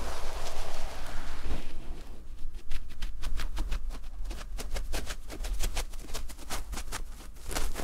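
Fingertips and short nails scratch the textured surface of a cream looped terry cloth fabric pad lying flat. A dense, continuous rubbing hiss for the first two seconds gives way to a quick, uneven series of short, bright scratching strokes, each crisp and dry with no ring, over a faint low rumble.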